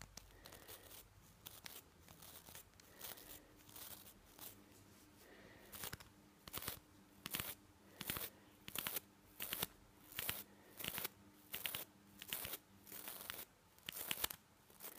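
A toothbrush with nylon bristles is held in one hand while the fingers rub and flick the bristles. Quiet, bright, scratchy crackles come in short irregular bursts, soft at first and then louder and more evenly spaced, with a faint steady tone underneath.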